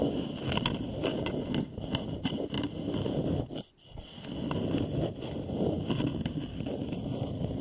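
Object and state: Wooden bowl scratched and tapped.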